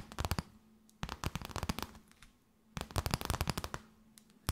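An empty transparent plastic bag, held tented, is tapped and crinkled with long nails. Quick bursts of sharp, crisp crackling taps come in three clusters separated by short quiet gaps, ending with a single loud tap. A faint low hum sits underneath.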